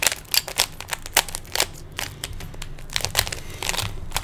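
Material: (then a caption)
Plastic. Fingertips quickly turn the layers of a small hollow plastic 3x3 Rubik's cube, producing a rapid, irregular run of sharp plastic clicks and crinkly rattles. The clicks are bright and dry, dying away almost instantly, with light scraping between the louder snaps.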